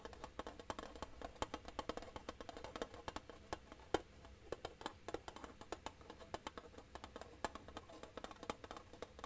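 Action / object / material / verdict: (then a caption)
tap / flat metal tin case / metal / none. A flat, rectangular, hollow silver metal tin, held upright, is tapped along its edge with fingertips and nails. The result is a quiet, steady stream of rapid, short, dry clicks and knocks. Each tap dies away almost instantly, with a hollow midrange tone around 340 Hz.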